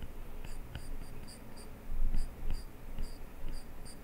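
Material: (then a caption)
Glass. A plastic stylus tip scratches and taps across an iPad glass touchscreen lying flat on a desk while sketching, with the other hand resting on the screen. Soft, low scratchy strokes are heard with faint high, bright ticks from the taps, growing a little louder around the middle.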